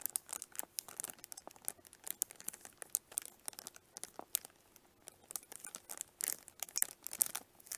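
Long nails scratch and squeeze the crinkly clear cellophane wrapped around a small, hollow pink plastic onigirazu case held upright in both hands. The result is quiet, bright, dry crinkling, with rapid irregular ticks and crackles, brief louder bursts, and almost no low end or ring.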